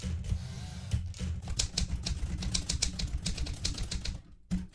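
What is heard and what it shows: Fingertips with red-painted nails type continuously on a blue metal portable manual typewriter with plastic keys, producing a steady run of sharp key and typebar clacks. Each strike has a bright snap over a low, thumpy body and dies away almost instantly. The typing briefly pauses near the end before one last clack.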